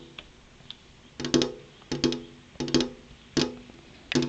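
The tips of long, purple-painted fingernails, held upright, tap on a large, flat, solid glass window pane. Two faint ticks come first, then sharp, bright clicks in quick pairs every half second or so. Each click has a short, low, hollow ring that dies away fast.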